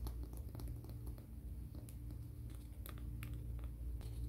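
Fingernails are filed and scratched along the surface of a grey, gritty emery board nail file held in the hands. Short, bright, dry scraping strokes come through faintly over a steady low hum, keeping the overall sound quiet.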